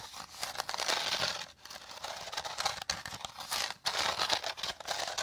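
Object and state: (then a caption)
Woven rattan bowl being scratched. A hollow, dome-shaped woven rattan bowl is rubbed and scratched with fingertips and nails. The result is a dense, bright, dry crackling and crinkling texture with quick scratchy strokes. It pauses briefly a few times before continuing.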